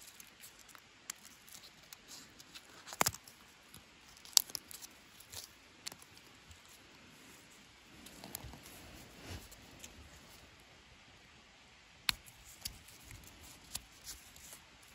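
Fingertips and nails pick, scratch and peel loose dry bark flakes off a long, solid natural wooden walking stick that is partly stripped to pale wood. The sound is a quiet, bright, irregular crackle of dry scratching and crinkling, with scattered sharp, short snaps as bark pieces break away.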